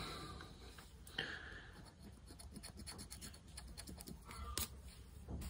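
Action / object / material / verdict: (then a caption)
scrape / paper scratch-off lottery ticket scratched with a plastic scraper / paper / none. A small, thin paper-card Money Tree lottery ticket lies flat on a wooden table, held down by fingertips, while a dark round disc scraper, apparently plastic, is rubbed across its latex scratch-off panel. Quiet, rapid, gritty scraping strokes run continuously over a low rumble, with a few brighter, sharper scratches standing out.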